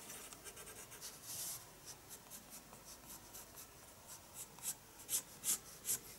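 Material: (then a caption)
Paper. A pencil draws on the page of a paper spiral sketchbook resting on a desk. Quiet, bright, scratchy strokes repeat at an uneven pace, with a longer rub early on. The strokes grow louder and sharper toward the end.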